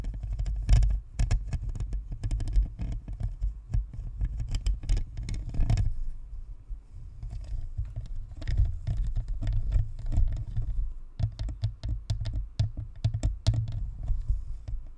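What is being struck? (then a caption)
Plastic spherical USB microphone. Long nails on both hands scratch and tap the grille and top of a white, hollow, spherical plastic Blue Snowball USB microphone. The result is a dense, rapid stream of dull, deep thumps and scratchy rustles with very short decay, easing briefly in the middle before picking up again.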